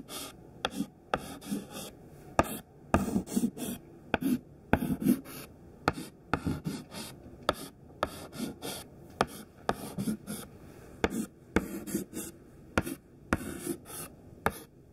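A thin white stick of classroom chalk, held in the fingers, draws squares on a flat black chalkboard with short scratching strokes. Nineteen sharp, clicky taps mark the starts of strokes, each followed by a brief, dry, gritty scrape centered low-mid around 680 Hz. The sounds are quick and close with almost no ring.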